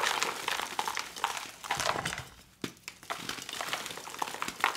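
Two bare hands squeeze, crush and rub soft, dry, glittery white gym chalk (magnesium carbonate) balls and powder in a dark blue bowl, breaking the lumps into powder with fingers and palms. Dense, bright, dry crunching and crackling runs throughout, briefly quieting around the middle before a sharp crunch brings it back.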